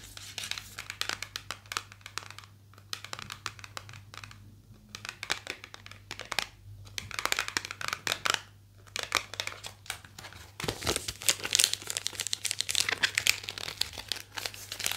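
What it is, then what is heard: Small cardboard box. A small, hollow, white printed cardboard package is tapped and scratched with long nails. The result is a dense run of quick, bright taps and crinkly scratching with little low end, pausing briefly between bursts, over a faint steady low hum.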